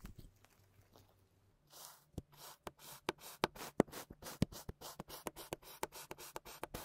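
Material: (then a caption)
Sand. A wooden meat tenderizer with a textured head is pressed and knocked again and again into a flat, solid round slab of brown kinetic sand on a white surface, leaving a grid pattern. After a quiet, faintly rustling start, seventeen separate soft thuds follow at an uneven pace, each with a dull low body and a bright, grainy crunch that stops almost at once.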